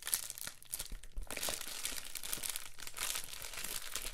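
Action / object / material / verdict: shake / plastic bubble mailer / plastic / none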